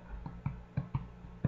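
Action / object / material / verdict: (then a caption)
tap / yeast bread loaf / bread / done. A homemade one-pound yeast bread loaf is tapped five times, giving short, dull, low thumps with a hollow body and almost no ring. The loaf is baked through, and its doneness can be heard in the solid sound.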